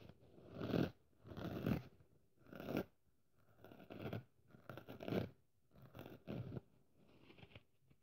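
Long nails scratch the rough red scouring-pad side of a hand-sized, dry pink foam kitchen sponge held in the hand. The sound comes as a series of dry, rasping, crunchy scratching bursts, each swelling and fading, with quiet gaps between them and little high-end brightness.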